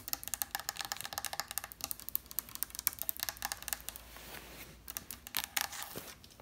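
Long red nails tap fast and scratch on the inlaid top edge and side panels of an octagonal wooden side table with geometric mother-of-pearl inlay and a stack of books on top. Rapid, crisp, bright clicks with almost no low end come in quick bursts, with a softer, steadier scratching stretch in the middle. Each tap dies away almost instantly.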